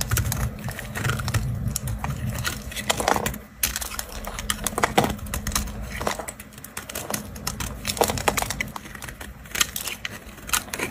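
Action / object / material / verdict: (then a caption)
scrape / bar of soap scraped with a knife / soap / none. A knife blade scrapes and carves thin, brittle shavings from a round, solid white bar of dry soap held in a hand. Dense, crackly scraping and crisp clicks run almost continuously, with bright transients over a low steady hum.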